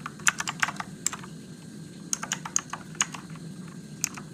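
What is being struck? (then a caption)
Mechanical keyboard with plastic keycaps. Fingertips type on a Motospeed RGB-backlit mechanical keyboard with plastic keycaps and blue switches. They produce an irregular run of sharp, bright clicks with very short decay. A low steady hum sits underneath.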